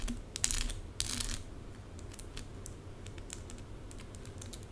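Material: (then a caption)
Plastic. Long pink acrylic nails scratch quickly over small plastic rhinestone stickers scattered across a forearm. Bright, clicky scrapes come in two dense bursts near the start, then thin out into irregular light ticks over a low, steady background rumble.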